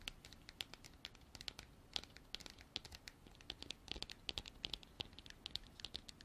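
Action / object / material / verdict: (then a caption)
scrape / hard plastic container / plastic / none. Long black artificial nails scratch and tap the sides of a hand-sized, hollow, apparently empty white frosted hard plastic container with a textured surface. The result is a quiet, steady run of quick bright clicks and scratchy ticks, each one dying away almost instantly, with a sharp tone around 3.4 kHz over a faint low rumble.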